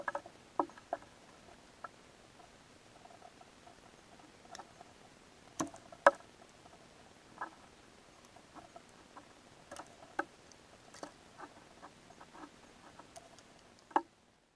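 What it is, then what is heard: Glitter-coated soap bar being carved. A metal box-cutter blade shaves and carves slices off a palm-sized solid pink soap bar coated in black glitter, held in the hand. About fourteen short, crisp scraping cuts sound quietly and separately against near silence, mostly in the mid-range with thin bright edges and almost no low end. Each cut dies away almost instantly.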